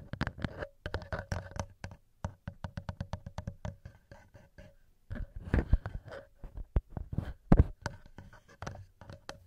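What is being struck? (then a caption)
Metal microphone capsules. Bare fingertips with short nails tap and rub the two small knurled metal XY microphone capsules on top of a black TASCAM DR-07X recorder. Quick, dry, close-up taps with a heavy low thump and almost no ring come in irregular bursts, mixed with soft scratchy rubbing. The sound drops to quiet rustling around the middle, then returns with a few louder thumps.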